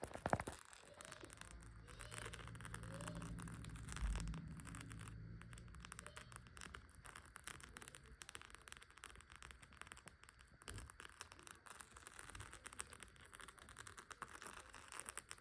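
Long decorated acrylic nails tap and scratch across the flap of a small gold clutch purse covered in rows of plastic faux pearls and gold beads, resting flat on a grey couch. Dense, quick clicks and crackly scrapes run throughout over a low rumbling hum, swelling slightly in the first few seconds and staying soft to the end.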